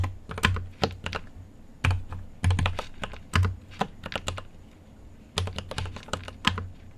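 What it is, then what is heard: Mechanical keyboard with plastic keycaps. A mechanical keyboard with an aluminium case and plastic keycaps is typed on by fingertips, seen from the side. Irregular bursts of sharp, bright clicks come in quick runs separated by short pauses. Each keystroke carries a deep thock underneath and dies away almost instantly.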